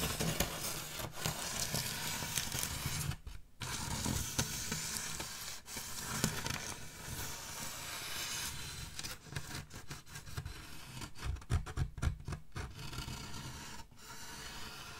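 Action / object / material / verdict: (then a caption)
scrape / styrofoam packaging slab / styrofoam / none. A wide, solid-foam styrofoam packaging slab, held upright behind the mic, has its top edge scratched by the long fingernails of both hands. The result is a dense, continuous scratching and squeaking texture that sounds almost like sizzling, with bright hiss and a full low-end rub. It runs fairly steadily, dipping briefly in a few short pauses.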